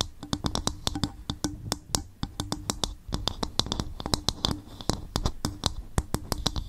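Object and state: Coconut shell bowl.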